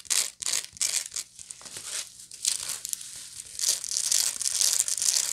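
Long manicured nails scratch across the coarse, textured weave of a medium-sized, hollow, round woven straw or raffia bag. The result is dry, bright, crackly rasping in quick irregular bursts. The sound softens to faint rustles in the middle stretch while the bag is only held, then the scratching returns louder toward the end.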